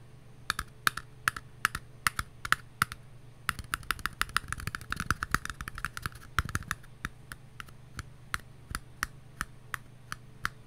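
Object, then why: Small paper cup. A small, empty, patterned paper cup, hollow and held in the hands, is tapped with long nails and fingertips. Dozens of short, dry, clicky taps ring at about 1.3 kHz, coming in an uneven rhythm. They bunch into a faster flurry with softer, duller thumps around the middle before thinning back out to spaced single taps.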